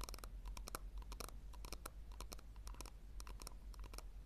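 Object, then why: Small round plastic tub. A small, hollow, round pink plastic tub is held in the hands while long nails scratch and tap its bottom and rim. The result is a quiet, irregular string of short, crisp clicks and scratchy taps with bright edges over a low, steady rumble.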